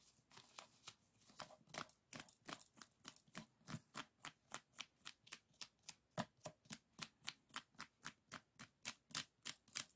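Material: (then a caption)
Bamboo. Fingertips and nails tap and scratch along the stacked ribs of a closed bamboo folding fan with painted paper folds. About 36 quiet, bright, dry clicks come in a fairly steady rhythm, each dying away almost instantly. The taps grow slightly louder and crisper toward the end.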